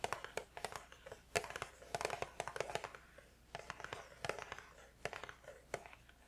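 A small cardboard tea box is held in both hands while fingertips tap on its sides. The result is a quiet run of quick, irregular taps, each a short, dry, hollow knock with bright crisp edges and no ring, some landing in close bursts.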